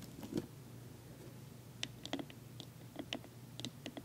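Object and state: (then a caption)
Wooden tea box tapped with nails. Long nails and fingertips tap on the wooden front and sides of a medium, dark-stained wooden tea box with a glass-window lid, closed and holding tea packets. Short, dry clicks with a low woody knock and a bright nail tick arrive in scattered bursts, and each dies away almost at once over a faint steady low hum.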